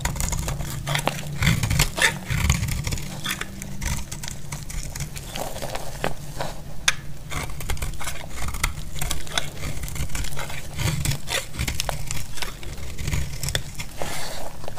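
A utility blade cuts and scrapes a solid yellow bar of soap, making a steady run of dry, crackly scraping with many small sharp clicks and bright ticks. A constant low rumble sits beneath the cutting throughout.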